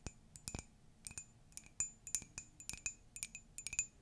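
Long nails tap and scratch the outside and rim of an empty, hollow pastel Dumbo ceramic mug. The result is a quick, irregular run of bright, glassy clinks with a high ringing tone that dies away almost at once.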